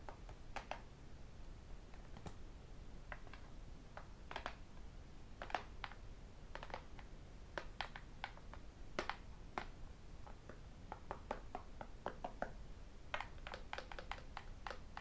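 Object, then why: Tablet with aluminium back and glass screen. A thin, solid tablet with an aluminium back and a glass screen is held flat and tapped with fingertips and ten metal rings. Dozens of quiet, sharp, irregular clicks and taps die away almost instantly over a low background rumble.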